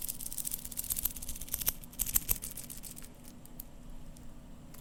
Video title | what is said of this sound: ASMR - Seiko SBDC053 Watch Sounds (Whispers, Tapping, Scratching, and Turning) | the bracelet is jingly, just a bit. However, it's a very dense sounding jingly sound